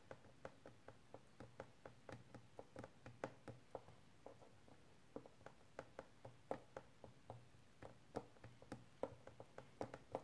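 A small, rectangular, hollow clear hard plastic case, apparently empty or holding small packaging, is held upright in both hands and tapped and scratched with painted fingernails. About 37 short, dry, hollow clicks sound in an uneven rhythm, each with a quick, mid-pitched plastic tone near 530 Hz that dies away almost at once, over a faint low hum.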